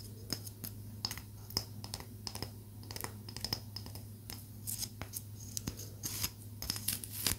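A small solid palo santo wood stick is tapped and scratched with long nails, giving a run of short, dry, bright clicks and scratches that die away almost at once. A steady low hum sits underneath throughout.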